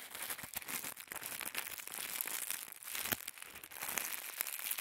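Fingertips squeeze and crinkle a small folded packet of thin white tissue paper. A quiet, steady stream of dry, bright crinkling and crackling comes through, with irregular sharp snaps and almost no low end.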